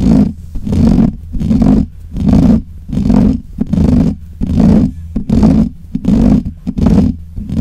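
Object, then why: Metal mesh microphone grille. Fingertips and nails scratch the black hollow metal mesh grille of a desk microphone. Each stroke makes a loud, close rasping rub with a heavy low rumble, repeating in steady back-and-forth bursts about once every second.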